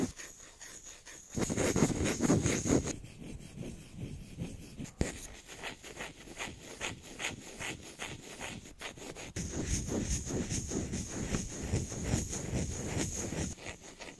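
A small, solid round bamboo jar lid with a white silicone seal ring is held in the hands and rubbed and scratched with fingertips close to the mic. The result is quick, rhythmic scratching strokes with a dry, woody rasp and a bright hiss. The sound grows louder and fuller in bursts near the start and again in the second half.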